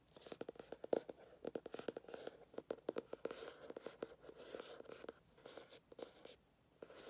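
A small, solid orange hardcover "Dad Jokes" book is held in the hands while fingernails scratch and tap first along its spine edge and then across its cover. The result is a quiet, rapid run of crisp, dry clicks and scratchy rasps with a papery midrange tone and almost no ring, broken by a brief lull near the end.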